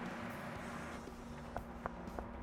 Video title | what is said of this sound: 10 Surprising, Billion-Dollar Exports Around The World | Hear that good solid sound? Solid pistachios.